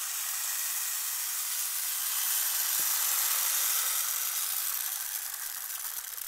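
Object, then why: Plastic rainmaker tube with small beads. A long, clear, hollow plastic rainmaker toy tube, with colored plastic tiers, small beads inside and green end caps, is held in both hands and tilted and turned so the beads cascade and rattle inside. The result is a steady, bright, hissing patter of tiny clicks that swells slightly midway and then eases off toward the end.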